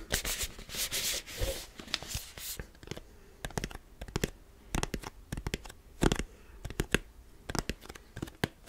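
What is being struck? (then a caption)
Plastic tub with screw lid. Fingertips rub the lid and side of a large white plastic supplement tub with a black plastic screw lid. Dense, bright scratchy rubbing fills the first couple of seconds, then gives way to scattered short, dry taps and scrapes with no ring.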